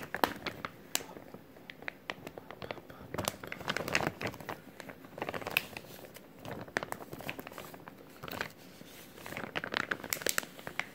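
Fingers flex and crumple a clear plastic zip-lock bag, a thin-film resealable bag with a green tab. The result is a steady run of sharp, dry crinkles and crackles that come in denser, louder bursts, with bright high-end snap and very little low end.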